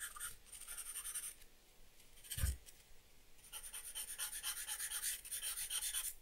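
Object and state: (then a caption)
Pencil drawing on paper. A black charcoal or graphite pencil strokes and scratches across a flat sheet of drawing paper bearing a charcoal portrait, lying on a wooden desk. Bright, dry scratching comes in rhythmic bursts, broken midway by a single soft low thump. It then resumes as a steady run of quick hatching strokes.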